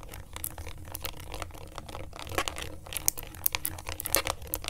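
A pen tip traces and scratches over the rubbery colored buttons and face of a small, thin, hollow plastic LED remote control held in a gloved hand. Dry, bright scratching and quick clicky ticks come in an irregular stream, some sharper than others, over a steady low rumble.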